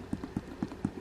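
The pebbled leather exterior of a genuine leather handbag is tapped repeatedly by hand, giving a series of soft, dull, low thuds with almost no ring. The sound is dampened and soft, unlike the plastic-sounding fake.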